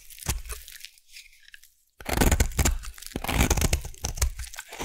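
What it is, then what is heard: Bar soap being carved. A solid purple bar soap is cut with a craft knife and then carved into shavings with a blade. Dry, crunchy scraping and crackling come in quick bursts, with an abrupt silence near two seconds before denser, louder carving resumes.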